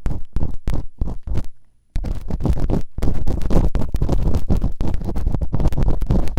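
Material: Silicone.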